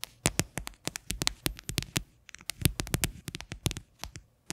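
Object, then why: Hollow plastic container. An upside-down, hollow, white faceted plastic container resting on a yellow lid has its base tapped with long fingernails. The result is a quick, irregular run of sharp, dry clicks with almost no ring, each with a bright top and a soft hollow low thump.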